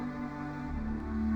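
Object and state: Nothing is struck.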